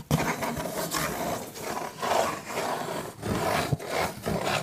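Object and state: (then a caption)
Cardboard pizza box. A cardboard pizza box is scratched, producing a continuous rough, rasping texture in repeated strokes that swell and fade. Two sharper taps stand out near the start and toward the end.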